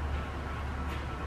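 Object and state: Nothing is struck.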